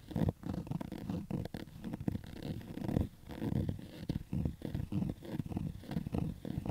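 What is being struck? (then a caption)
Cotton fabric baseball cap. Fingertips and nails scratch along the stitched crown of a black cotton Adidas baseball cap, its hollow crown resting on carpet. The result is a steady run of rough, muffled scratching strokes that sit mostly in the low range, with short dry bursts and little ring.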